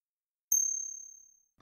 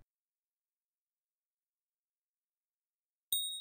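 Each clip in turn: First: One light tap gives a high, thin ring; its tones do not match a genuine silver coin, so it is fake. Second: A single light tap draws a bright, high ring from a silver coin, sounding genuine.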